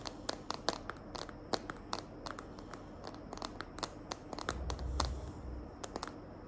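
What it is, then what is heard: Plastic phone case tapped with nails. Long nails tap and scratch the back of a small, hand-held smartphone in a green glitter plastic case. The result is a quick, irregular run of sharp, dry clicks, mixed with soft scratchy rustling and a brief low rumble near the end.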